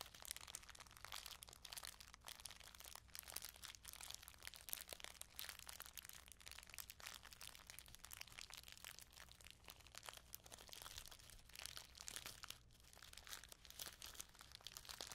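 A small clear plastic bag full of sequins, partly in view, is pressed and crinkled under fingertips and long nails. It makes a steady, quiet stream of bright, crisp crinkling and tiny clicking crunches with no ring. A faint low hum runs underneath throughout.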